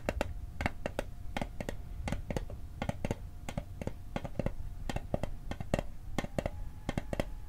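Fingertips quickly tap the lid of a small, hollow, rectangular metal Altoids mint tin held in the hand. The result is a fast, uneven run of short, dry clicks that decay almost instantly, with a faint tinny ring and low body beneath.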